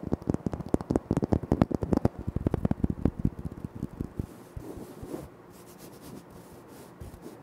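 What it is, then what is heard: Granite floor tile. Fingertips rapidly tap and scratch on a flat, solid, speckled granite floor tile, making a dense run of short, dry, crisp clicks for about four seconds. The clicks then give way to a quieter, steady rubbing and scratching on the stone with a soft, low hiss.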